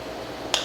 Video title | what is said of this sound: Review BenCHINAmade 319 Proper | mais abafado e mais baixo é porque ela bate nesse um pino que fique assim embutido dentro da das telinhas de g10